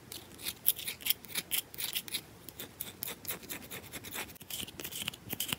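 Long nails scratch and tap the edges and face of a solid bar of soap held in the hand. Fast, aggressive bursts of bright, dry scraping and clicking follow each other closely, with very little low end and almost no ring after each stroke.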